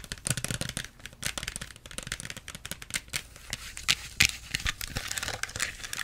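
Long nails tap and scratch rapidly over the plastic label and cap area of a small plastic Pepsi bottle. The result is a dense, irregular run of bright, crinkly plastic clicks and scrapes, each dying away almost instantly, with a few sharper, louder taps near the end.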